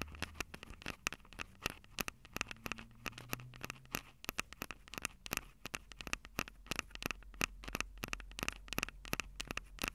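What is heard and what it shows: Long acrylic nails tap rapidly on the metal mic grilles over the capsules of a Tascam DR-05 handheld recorder with a plastic body. Dozens of sharp, very short clicks land in quick, uneven bursts. Each carries a bright, scratchy edge centered around 2.6 kHz over a faint low rumble.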